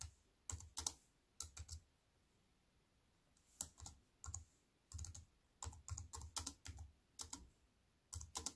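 Fingertips and long white-painted nails tap on a compact wireless keyboard with black plastic keys on a grey metal-look frame, lying flat on a wooden table. Quick bursts of short, sharp clicks each carry a soft low thud and a bright ticking edge, with a quiet pause before the typing resumes in steady clusters.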